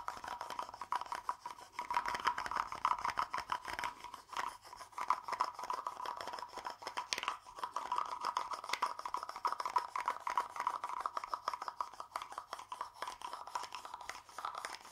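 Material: Wood.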